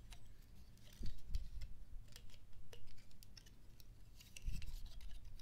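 A dry brown pine cone, hand-sized with rigid woody scales, is held in both hands while fingertips and nails repeatedly scratch and flick the scales. The result is a quiet stream of short, crisp clicks and scratchy ticks, with a few louder bursts and a low rumble underneath.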